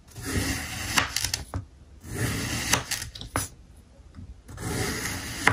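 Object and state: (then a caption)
Kinetic sand block being sliced. A steel kitchen knife slices a small, solid block of packed pink kinetic sand into thin triangular layers on a white surface. The blade makes three gritty, bright scraping passes through the sand, each ending in sharp little clicks, with quiet pauses between them.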